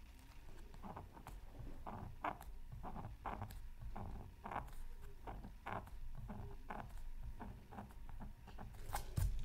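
A bamboo stylus scratches repeated short strokes into the coating of a thin, solid, flat black-coated scratch art card from a Mythical Creatures Super Scratch Art Pad. Each stroke is a brief, dry rasp with bright streaks reaching up high, over a steady low rumble. The strokes come in an uneven patter, ending with a few sharper, louder scrapes.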